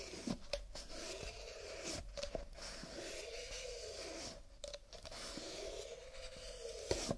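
Fingertips in fingerless gloves rub, scratch and tap along the walls and rims of a stack of nested empty disposable paper/cardboard coffee cups held horizontally above a wooden table. A steady, hollow scratching with a resonant tone that slowly swells and fades, broken by occasional sharp, dry taps.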